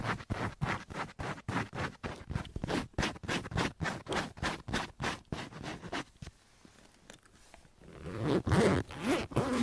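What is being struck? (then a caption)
Faux leather duffel bag with zipper. Fingertips and nails scratch a large, soft-sided white faux leather duffel bag that appears filled and has a zipper and metal rings. A fast, steady run of short, dry scratches fills the first six seconds, then fades to faint scraping. It ends with a louder, longer burst of rustling and zipper handling.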